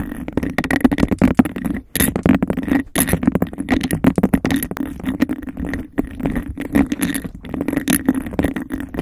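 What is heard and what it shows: Long nails rapidly scratch and tap a clear, hollow textured glass cup held over the mic. The result is a dense, fast stream of clicks and scrapes with a hollow resonance around 250 Hz, broken by a few brief pauses.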